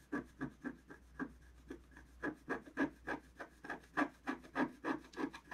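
A wooden stylus scratches strokes into the black coating of a thin, flat scratch art paper sheet. About 20 short, dry, scratchy strokes come in an uneven rhythm, each a quick rasping rub with a papery mid-range body and a faint steady low hum underneath.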